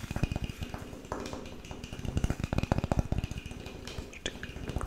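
A flat, thin, light-coloured solid wooden board, about the size of a tablet, is held up in both hands and tapped and scratched with fingertips and nails across its face and edge. A rapid series of dull, low, woody taps with very short ring runs alongside soft scratching and brushing, with some faint bright clicks.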